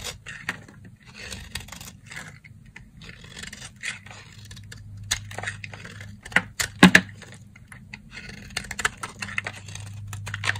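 A box-cutter blade cuts and scrapes a stack of dry, solid cream-colored soap bars, dropping shavings onto a white surface. Soft, dry scraping and crackling strokes repeat over a low steady hum, with a few sharper, louder cuts near the middle.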